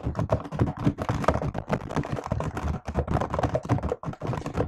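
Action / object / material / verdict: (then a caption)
tap / plastic laptop keyboard keys / plastic / none. Continuous typing on a laptop keyboard with plastic keys, struck with fingertips and long nails. A dense, steady run of short, dull clicks and thuds, mostly low in tone with a faint brighter tick on some strokes, each dying away almost instantly.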